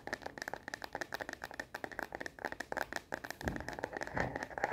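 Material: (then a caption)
Plastic. Long fingernails tap fast on the back of a smartphone in a star-print plastic phone case, making a rapid run of short, dry, clicky taps with a hollow mid-pitched plastic tone. Just past the midpoint the taps crowd together into a denser, fuller burst of clattering before settling back into quick taps.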